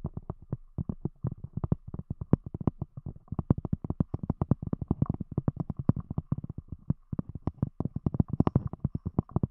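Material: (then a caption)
Cork. Long fingernails of both hands rapidly tap a round, thick, solid cork disc covering a microphone. The result is a quick, uneven stream of short, dull, muffled knocks, deep and bassy with almost no high or bright content. Each tap stops instantly, with no ring.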